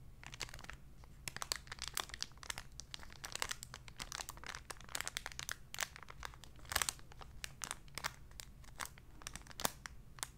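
A small clear cellophane bag with something light inside is held in both hands and crinkled and rubbed with fingertips and long nails. It makes a quiet, continuous stream of sharp, bright crinkles and crackles that die away almost instantly. A steady low hum sits underneath.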